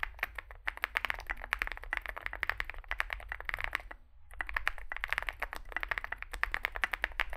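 Fingertips type continuously on a small Zoom65 65% mechanical keyboard with a dark case and white and grey plastic keycaps. Rapid, sharp clacks with a bright, crisp tone ring out over a low, steady hum. Typing pauses briefly around the midpoint before resuming at the same pace.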